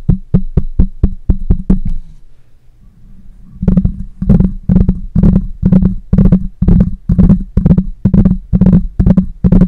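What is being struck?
Metal mesh microphone grille.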